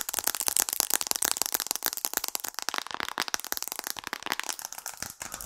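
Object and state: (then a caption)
Glass and aluminium smartphone. Long acrylic nails rapidly tap on the glass and aluminium frame of a white-framed smartphone held in the hands close to the microphone. The result is a dense, continuous stream of sharp, bright clicks and ticks with almost no low end, each tap dying away instantly.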